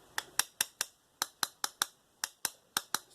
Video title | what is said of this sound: Sharpening Spyderco Endura V-Toku2/SUS410 | this stuff is really dense. Sounds like wood, it's so dense